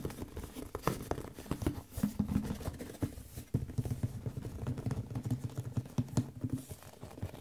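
A medium, hollow, white printed cardboard Audio-Technica microphone box is held in both hands and tapped quickly with fingertips and nails along its sides. The result is a steady run of soft, low, hollow pattering taps with short dry knocks and a faint papery scratch.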